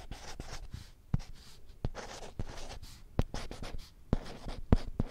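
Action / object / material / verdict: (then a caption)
scrape / small printed whiteboard with plastic frame / plastic / none. Long painted nails scratch and tap across the glossy printed surface of a small flat children's alphabet whiteboard with a green plastic frame, held in one hand in front of the mic. Soft, dry scratching runs throughout, broken by sharp, short taps with a dull low thump and almost no ring.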